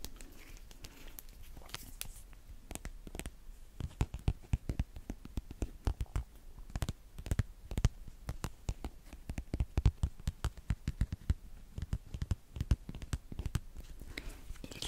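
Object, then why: Plastic lip gloss tube. A small red plastic lip gloss tube with a pale cap, hollow and apparently filled with gloss, is held in the fingers close to the microphone and tapped with the fingernails. Dozens of quick, dry clicks and soft thumps come in uneven bursts, each dying away almost instantly, with most of the energy in a low, muffled register.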